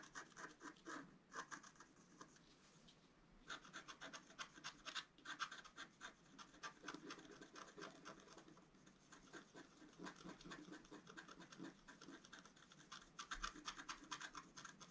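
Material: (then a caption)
Coated paper. A wooden stylus scratches the coating of a flat, black-coated scratch-art card, about A4 size, lying on a table, in repeated strokes. The result is a quiet, dry, raspy scratching with bright, papery texture and very little low end, coming in dense bursts of short strokes with brief pauses between them.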